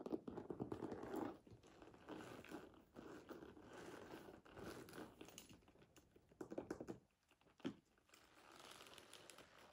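Long nails and fingertips tap and scratch the front leather panel of a medium-sized structured brown leather handbag with a metal frame clasp, standing hollow on a table. Soft, dense clicks and scratchy rustling run throughout, with a few louder taps near the end.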